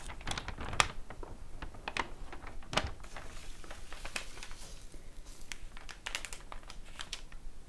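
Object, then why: Glossy paper flyer. Long painted nails and fingertips tap across glossy paper promotional store flyers lying flat on a table, after a page is flipped at the start. The result is a steady run of quick, dry, crisp clicks with a bright papery crinkle, a few landing sharper and louder, and no ring after each tap.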